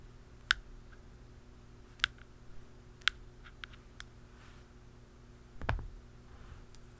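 A dark pen and a blue plastic pen tap the rim and top of a hollow black plastic aerosol can cap. There are six sharp, bright clicks with almost no ring, spaced unevenly over a quiet background. The last tap near the end is softer and duller with more low thud.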